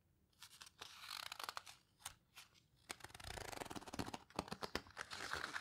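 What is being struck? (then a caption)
Heavy-paper photo book. Long nails grip and squeeze the edges of the heavy paper pages in an open paper photo book, then turn a page. Quiet, crisp clicks and dry crackles come in quick bursts, followed by a bright, papery rustle and sweep as the page turns.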